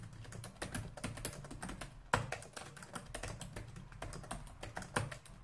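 Fingertips and nails type rapidly with both hands on a black plastic laptop keyboard. The result is a steady stream of short, dry clicks over a soft low thump, with two sharper, louder key strikes standing out along the way.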